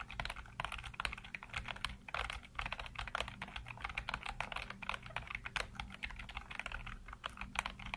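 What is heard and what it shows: Fingertips rapidly tap and type on a full-size black plastic computer keyboard with hollow keycaps, producing a dense stream of short, bright clicks and clacks with almost no ring. A steady low hum sits underneath the quick, uneven bursts of keystrokes throughout.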